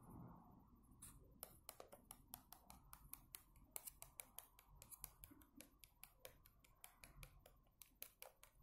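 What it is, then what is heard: Plastic yogurt cup. A fingernail scratches the edge of the foil lid on a small orange plastic yogurt cup, full and sealed and held in hand, then taps and scratches the cup's hollow plastic side wall. Quiet, rapid, dry clicks and brittle scratches with a bright, crisp edge sit over a soft low rumble. Each tap stops instantly with no ring.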